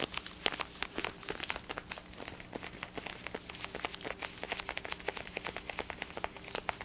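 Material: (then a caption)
Plastic. Fingertips and nails tap and scratch the hollow ear cups of a black and blue plastic over-ear gaming headset held close to the microphone. The result is a rapid, uneven run of dry, bright clicks and scratchy crinkles with almost no ring, over a faint steady low hum.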